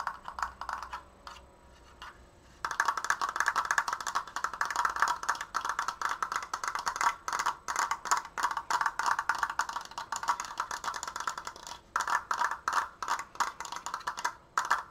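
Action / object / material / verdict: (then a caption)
tap / wooden slat frame / wood / none. Fingernails tap on the side slats of a large, open, triangular wooden triforce frame held upright. After a few sparse, quieter taps in the first two and a half seconds, the tapping turns into a fast, steady stream of dry, clicky knocks with a woody tone around 1.7 kHz and almost no ring. The stream breaks only for brief pauses near the twelve- and fifteen-second marks.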